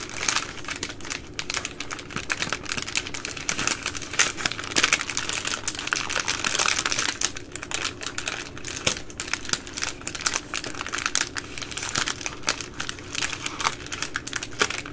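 Long nails scratch and rub the crinkly plastic film ends of baby wipes packs up close. The result is a dense, continuous run of bright crinkling and fast scratchy ticks that lasts the whole clip, with little low end.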